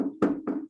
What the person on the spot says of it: if i get bang on my desk here you can hear it and part of that is there's a density